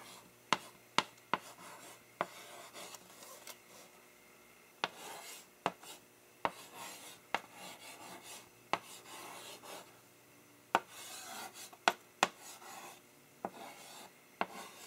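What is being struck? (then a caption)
Chalk on a wood-framed blackboard. A gloved hand writes with chalk on a wood-framed blackboard held by another gloved hand, scraping and tapping the chalk against the flat, solid board surface. Quiet, bright, gritty scratching strokes are broken by about fifteen short, sharp taps with almost no ring.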